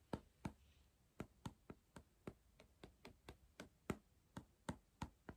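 Fingertips tap and knock near the top and plastic lid of a small, hollow blue and green cardboard Pringles crisp tube. Seventeen short, dry, hollow taps come at an uneven pace with no ring after each one.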